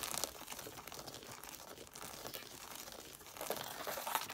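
Long dark nails fast-tap and scratch the paper page edges and red covers of a solid pile of red cloth-bound hardcover books. The result is a quiet, dry, continuous crinkly scratching with bright rustling texture and almost no low end, swelling slightly louder near the end.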